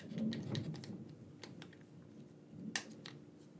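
Fingertips tap and press the buttons of a black, wired, hand-sized hollow plastic gamepad. The result is a quick, irregular run of short, dry plastic clicks with bright edges over a soft low rumble, with one sharper, louder click near the end.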